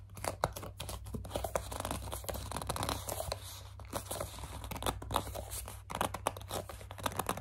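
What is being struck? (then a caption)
Plastic cleanser bottle. Long dark nails grip, scratch and squeeze a hollow white plastic CeraVe facial cleanser bottle, producing dense crinkling, scraping and tearing-like rasps with frequent sharp clicks. A steady low hum runs underneath throughout, and the handling continues with brief lulls around the middle and near the six-second mark.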